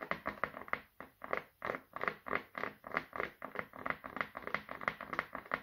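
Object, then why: Wooden oval brush back. Fingertips and nails tap and scratch the back of a small, solid brown wooden oval brush held in the hands. The result is a quick, uneven run of dry, light taps and short scratchy swells, bright in the upper mids with almost no low end and very little ring.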